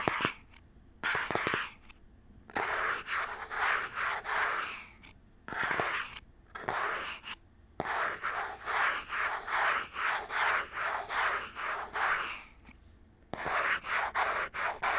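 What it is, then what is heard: Cardboard box, rubbed and scratched. Fingers rub and scratch the surface of a small cardboard Nintendo Switch Joy-Con box held close to the mic. The result is a run of dry, papery rasping strokes centered in the midrange with a bright hiss and almost no low end, separated by brief near-silent pauses. A few sharp clicks mark the starts of some strokes.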